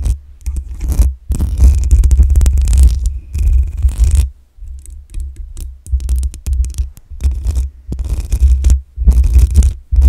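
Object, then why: Metal mesh microphone grille. Long acrylic nails scratch across the top and sides of the hollow metal mesh grille on a black USB microphone. The scratching comes in irregular bursts of bright, crackling rasps over a deep, booming low rumble, with brief near-silent pauses between strokes.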